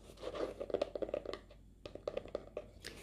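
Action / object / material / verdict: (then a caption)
tap / glitter-textured cardboard hardcover notebook / cardboard / none. A pink glitter-textured hardcover notebook, roughly paperback size and solid with a cardboard cover, is held in both hands and scratched and tapped across its sparkly surface with long pink-painted fingernails. A quick run of dry, crisp clicks and scratchy rasps with a mid-range body around 590 Hz and bright edges breaks off for a short quiet gap. The clicks then resume in a second burst, each one dying away almost instantly.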